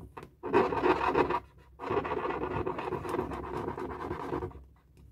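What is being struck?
Inflated latex balloon.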